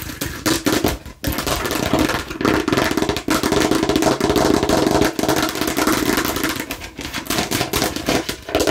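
Long nails tap rapidly on a hollow plastic watermelon-slice bottle turned in the hand, moving between the green rind side and the red face. The result is a dense, clattering run of sharp, hollow clicks with a tone around 395 Hz. Brief pauses break the run as the bottle is turned.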